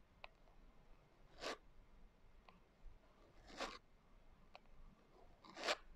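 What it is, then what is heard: Glitter-covered hardcover journal being scratched. Long nails slowly scratch across the coarse glitter cover of a closed hardcover journal. Three separate soft, gritty rasping strokes rise and fade, each spreading from low-mid up into bright high frequencies, with faint short ticks between them. The whole clip stays quiet and close.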